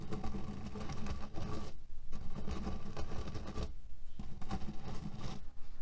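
Fingernails scratch and pinch the fabric of a cotton cushion filled with cherry pits. The result is a dense, gritty rustling and soft rattling of the pits inside, heavy in the low end, with brief quieter pauses around 1.8 and 3.9 seconds.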